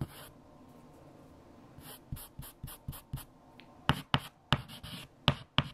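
A hand writes a 7 times table on a large, flat black chalkboard with a stick of white chalk. Soft, scratchy strokes lead into five sharp, bright taps of chalk against the board near the end, each ending quickly with little ring.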